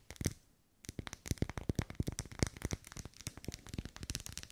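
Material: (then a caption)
Wax. Long nails tap and scratch the vertical ribs of a lit, solid pink ribbed wax pillar candle as it is held and moved side to side. A few taps come first, then a brief pause, then a rapid, uneven run of dry, clicky taps and scratchy strokes. Each tap dies away almost instantly with no ringing.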